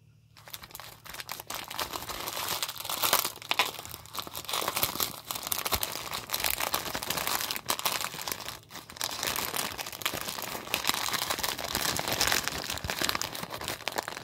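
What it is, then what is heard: Plastic mailer envelope being crumpled. A small grey plastic poly mailer envelope with a package inside is handled and crumpled by rubber-gloved hands. It gives continuous bright crinkling and rubbing of the plastic film for about 14 seconds, with only brief pauses.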